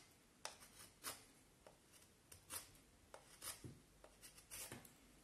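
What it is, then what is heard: Vine wood stick being whittled. A black knife whittles the end of a solid peeled vine wood stick held upright, making short, bright scraping cuts. Quiet, dry rasps with a little low thud come in irregular bursts against a faint hiss, and each stroke fades almost at once.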